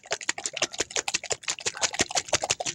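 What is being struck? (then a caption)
Capped plastic bottle of liquid paint mix. A capped plastic bottle of acrylic pour-paint mix with silicone, water and Floetrol is shaken hard to mix it. It makes a rapid run of wet, mushy sloshing bursts with crisp high-frequency rattle. The mushy sound shows the mix has reached the right consistency.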